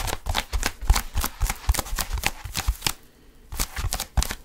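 Fingertips grip and scratch a blue foam roller held near the mic, making a quick series of dry, scratchy rustling bursts with soft low thumps. There is a brief pause just after the middle before the gripping and scratching resume.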